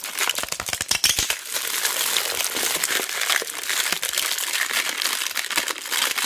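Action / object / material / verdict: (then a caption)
scrape / tape roll in cellophane wrap / cellophane / none. Fingertips and long black nails squeeze and scratch the clear cellophane wrapping around a large roll of mounting tape held in both hands. The result is a dense, bright, continuous crinkling with no low end. Sharp crackles cluster in the first second and a half, then the crinkling stays steady and busy to the end.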